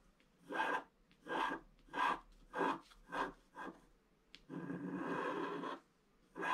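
A wooden stylus scratches flowers into the upper right of a flat scratch art sheet with a black coating. Six short, rasping strokes come one after another, then a longer, steady scrape, with a new stroke starting at the very end.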